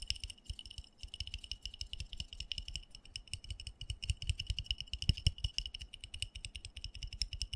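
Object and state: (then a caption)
Plastic plant pot. Fingernails quickly tap and scratch the bottom and side of a small black embossed plastic flower pot filled with soil, held tilted. The result is a rapid, continuous stream of short, dry clicks, each with a dull low thump and a bright, high plastic tick. The taps die away almost instantly.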